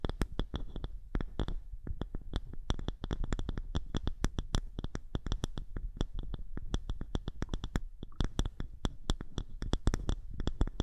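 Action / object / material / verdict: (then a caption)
scrape / small polished wooden disc / wood / none. Long nails on both hands rapidly scratch and tap a small, thick, round polished wooden disc held over the microphone. The result is a dense, fast stream of dry, short clicks and scrapes with a heavy low thud and bright ticking edges.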